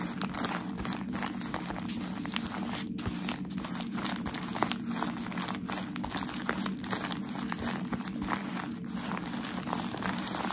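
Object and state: Crumpled packaging paper.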